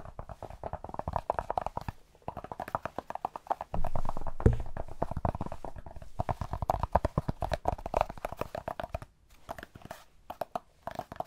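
Cork is tapped rapidly in dense, uneven bursts of short, dry clicks with almost no ring. A low, thumping stretch comes in around the middle of the run.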